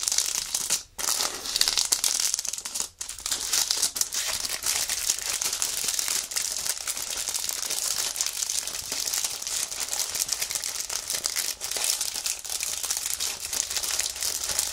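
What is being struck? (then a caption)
Paper magazine in plastic wrap. A thin paper magazine sealed in clear plastic film is held in both hands while fingertips squeeze, bend and rub the wrapper. The result is steady, bright, dense plastic crinkling with almost no low end, broken only by two brief pauses near the start.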